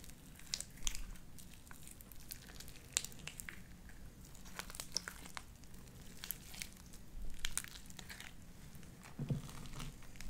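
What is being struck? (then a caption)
Sticky slime with small beads. A handful of soft, wet, stringy light-blue sticky slime dotted with small white beads is squeezed, stretched and pulled apart between both hands, fingertips and dark-painted nails. Quiet, sticky crackles and short bright pops scatter over a low, steady background hum, with a few louder wet bursts.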